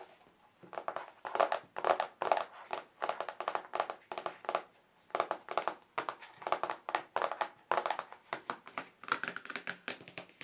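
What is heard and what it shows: Fingertips and nails tap the surface and raised rim of a large, flat white plastic paint palette tray marked with dried paint, thin and hollow underneath. Dozens of quick, hollow clicks and taps fall in steady bursts with brief pauses, centered in the midrange around 660 Hz with some bright edges. Each tap dies away almost instantly.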